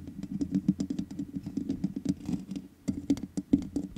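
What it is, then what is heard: Metal mesh microphone grille. Both hands tap the hollow metal mesh grille of a black microphone with long nails and fingertips. Rapid, dense clicks and light scratches ride over a close, muffled low-mid thump, pausing briefly near the end before the tapping resumes.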